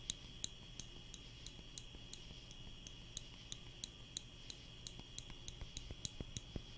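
A small wooden spring clothespin, held in the fingers, is clicked open and shut close to the mic in a steady run of about twenty short, sharp, dry clicks with bright, high tops and almost no ring. Underneath runs a faint low rumble and a thin, steady tone near 3.9 kHz.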